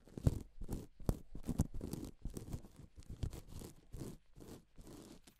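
Gloved hands and fingertips rub and sweep across a silver and pink sheet of reversible plastic flip-sequin fabric, flipping the sequins over. Each stroke makes a dry, scratchy rustle with a few sharp clicks. The bursts come in an uneven, unhurried rhythm separated by short pauses.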